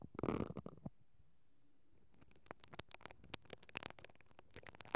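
A pink-handled mascara brush with black plastic bristles is brushed and scratched across the hollow, perforated metal mesh grille of a silver stereo microphone on a mount. A dense burst of bristly, crackling scraping opens the clip, followed by a near-silent pause. Then a quick run of sharp, bright scratches and ticks close to the mic fills the rest.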